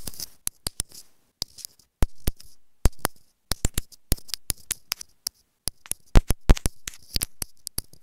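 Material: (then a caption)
Plastic. Long nails tap rapidly on a small, hollow, white plastic earphone inline remote microphone resting on fabric. About 34 sharp, dry clicks come in quick, uneven bursts with short pauses. Each tap is a brief, bright tick over a low thump and dies away almost instantly.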